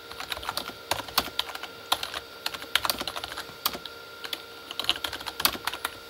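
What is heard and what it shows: Both hands type with their fingertips on a full-size Corsair K35 backlit keyboard, with plastic keycaps on a hollow plastic body. A rapid, uneven stream of short, bright, clicky taps is heard, each dying away almost instantly, with almost no low end and a faint steady tone underneath.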